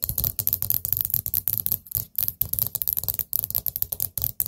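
Long nails tap quickly on the lid of a small orange glazed ceramic pumpkin-shaped candle pot with a gold stem lid. The result is a rapid run of sharp, bright clicks with a soft low knock beneath each one, dying away almost instantly, with brief pauses between bursts.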